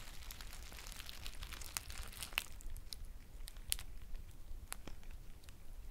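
A green foil tea pouch is held close while its edge is crinkled and squeezed with long nails. Quiet, steady crinkling runs throughout, broken by sharp, bright crackles and snaps over a low rumble.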